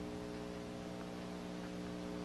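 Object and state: Nothing is struck.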